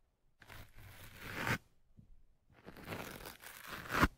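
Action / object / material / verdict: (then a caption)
scrape / foam microphone windscreen scratched with a thin metal pick / foam / none. A thin metal pick pokes down into the top of the soft, porous black foam windscreen on the right microphone and scratches it. Two close, crunchy, tearing scratch bursts rise in intensity and each ends in a sharper peak. A quieter rustle sits between them, with a low rumble underneath.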